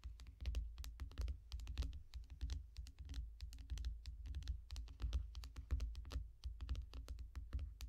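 Long fingernails on both hands rapidly tap the shiny glass screen of a small tablet lying flat in a yellow foam case. The result is a fast, uneven stream of dry, sharp clicks with bright ticks that stop almost at once, over a steady low rumble.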